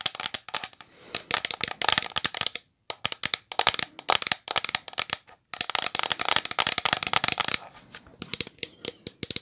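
A full, medium-size green translucent plastic OGX shampoo bottle with a gold cap is tapped and scratched with long nails. The result is rapid bursts of crisp, bright clicks and scratchy ticks with almost no ring, broken by two brief silent pauses.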